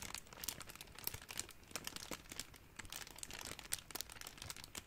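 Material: Plastic.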